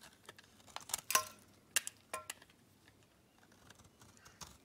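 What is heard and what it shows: A metal blade shaves flakes off a solid pink Camay bar soap held in hand, the flakes piling up below. Quiet, irregular crisp scrapes and clicks come through, bright and hissy with a few short tonal glints around 1 kHz. The loudest cuts cluster in the first two and a half seconds before softer scratches trail off.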